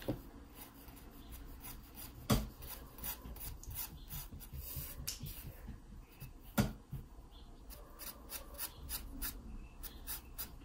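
A wooden pencil, held at an angle, scratches shading strokes across the page of an open paper sketchbook. The soft, continuous papery rasp rises and falls with each stroke, with brief bright scratchy bursts. Two sharper, louder clicks stand out above the steady scratching.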